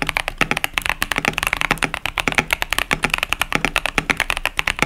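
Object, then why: Mechanical keyboard with plastic keycaps. A KBD67 Lite 65% mechanical keyboard with Boba U4T tactile switches and pastel plastic keycaps, resting on a desk mat, is typed continuously with the fingertips of both hands. About 32 quick, bright clacks centered near 2.3 kHz sound in a steady, uneven rhythm. Each one dies away almost instantly, with little low-end thump.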